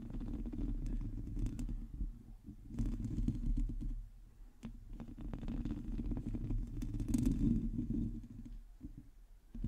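Long teal acrylic nails on both hands scratch directly across the hollow metal mesh head of a large black USB microphone. The result is a dense, fast, irregular rasping that sounds deep and rumbly up close, with brief quieter pauses between bursts of scratching.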